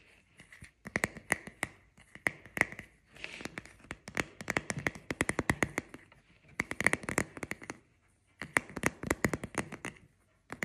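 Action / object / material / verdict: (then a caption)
scrape / plastic paddle hairbrush with bristle pad / plastic / none. Fingertips and nails scratch and rub across the bristles and the back of the hollow, cushioned head of a black, hand-sized plastic paddle hairbrush with a cushioned bristle pad and rubber-gripped handle. Bursts of quick, crisp, dry scratches and ticks come in clusters separated by short pauses, with a bright rasp around 2 kHz and little low end.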